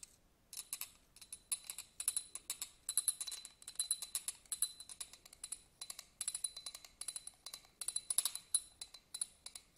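A small, hollow, empty yellow glass votive candle holder with pyramid studs is held in the hand and scratched with a black pen-like tool. Rapid, bright scraping and clicking bursts ripple across its studded surface in uneven clusters, with a faint glassy ring.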